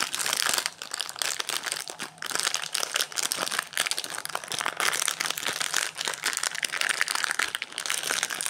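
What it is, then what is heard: Plastic-wrapped protein bar being crinkled. Fingertips of both hands pinch, rub and crinkle the plastic/foil-lined wrapper of a solid teal Quest protein bar, with an orange bar lying untouched nearby. A steady stream of bright, dry crinkles and crackles fills the clip, each snapping off instantly with no low rumble beneath.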